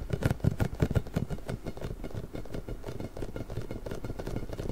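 A large pink hollow inflated rubber ball with nubs is held to the side of a microphone and scratched and rubbed with both hands. Low, muffled scratching and rubbing pulses repeat quickly and somewhat unevenly, with stronger thumping strokes in the first second.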